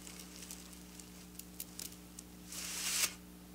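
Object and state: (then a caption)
Silver sequin fabric being scratched. Long black nails scratch along silver sequin fabric with both hands, giving soft, scattered bright ticks over a faint steady low hum. The sound then swells into a louder, hissy scratching run of sequins that cuts off abruptly near the end.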